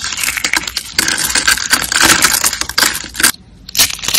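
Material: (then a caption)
Soap. Small purple and green glittery dry soap rolls, solid and brittle, are crushed between fingers into flakes. It makes a dense, bright, crisp crunching and crackling with a main tone around 1.6 kHz, briefly going quiet near 3.5 seconds before the crunching resumes.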